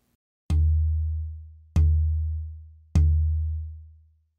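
A western red cedar soundboard plate, matched in size and density to an Engelmann spruce plate, is tapped three times, with each tap producing a low, booming tone around 78 Hz that rings out and slowly fades. The tap tone has a lower fundamental than spruce because cedar is more flexible.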